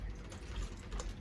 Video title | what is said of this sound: Storing your bike for the Winter | You can hear the gas and oil mixing, sloshing around in there.